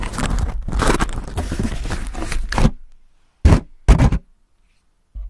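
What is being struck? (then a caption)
Crumpled aluminium foil sheet. Fingertips scratch and rub a thin, crumpled aluminium foil sheet wrapped in a hollow dome over the top of a microphone grille. A dense, crackling scrape with a deep, boomy low end runs for about two and a half seconds. After a pause come a few short, sharp rustling bursts, and another begins just as the clip ends.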